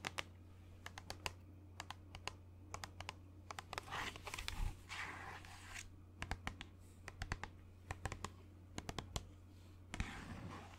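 Fingernails tap and scratch the sides of a hollow white plastic lotion bottle with a blue cap as it is held up. Dozens of quick, sharp clicking taps come in irregular clusters. Between them are brighter rasping scratch bursts around the middle and at the end, all over a steady low hum.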